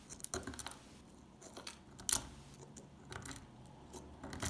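A solid, dry, old brown stamped laundry soap bar held in the hand has flakes picked and scraped off with a metal pick. Quiet, crisp crunching and scratching clicks come in scattered bursts with bright edges, and a sharper crack lands near the middle.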